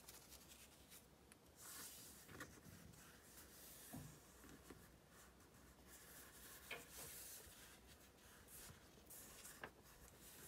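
A single thin sheet of printed paper with a pear pattern lies flat on a green cutting mat and is folded into an envelope, while fingertips with long nails press and slide along the folds to crease and smooth them. The sound is quiet, bright, papery rubbing and swishing, with a few sharper crinkles and soft taps standing out.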